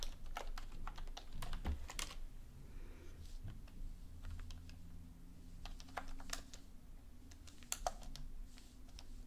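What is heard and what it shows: Long painted nails and fingertips type on a black plastic computer keyboard on a desk, with a book lying still nearby. Quick, dry key clicks tap out in an irregular rhythm over a low, steady hum, with possibly faint speech in the background.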